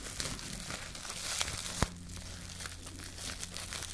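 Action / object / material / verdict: scrape / crumpled plastic cling film ball / plastic film / none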